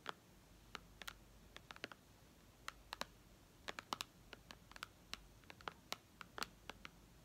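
Long red nails on both hands tap rapidly on the glass touchscreen of a white iPad lying flat, in a typing-like rhythm. About 28 short, sharp, bright clicks with no ring come in irregular bursts over a low, steady hiss.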